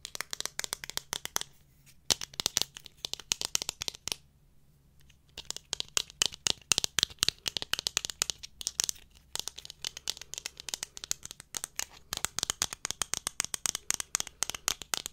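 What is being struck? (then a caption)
Thin plastic camera lens cap. A small, thin, hollow black plastic Canon lens cap is held in the fingers, tapped and scratched with long nails, and its clip mechanism is clicked. Dense, bright, crackly clicks and scratches come in fast, irregular bursts with a few brief pauses, each sharp and dry with almost no ring.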